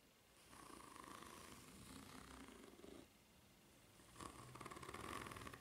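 Long nails scratch along the finely ridged underside of a white solid rubber flip-flop sole, making a steady, rapid raspy scraping with a bright hiss and a tone near 1 kHz. The scratching runs for about two and a half seconds, pauses briefly, then resumes as quick, slightly louder strokes.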